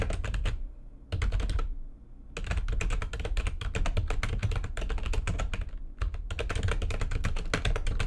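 Both hands type fast with long painted nails and fingertips on a full-size backlit plastic computer keyboard resting on a desk. Dense runs of bright clicky taps sit over a deep, thumpy body. The runs break briefly at about 1, 2 and 6 seconds.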